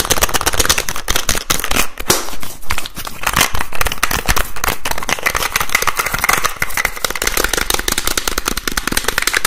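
Fingertips rapidly tap and twist the teal plastic cap of a white plastic bottle with a green cap. The result is a dense, nonstop run of sharp plastic clicks and crackling taps over low thuds, staying loud and steady for about nine and a half seconds.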